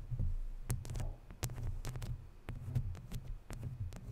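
Fingertips rub the sides of a hollow, round woven metal mesh microphone grille, then long nails scratch across the mesh. The result is a deep, thumping low rumble from the handling, cut through by brief bright scratchy streaks as the nails drag over the metal weave.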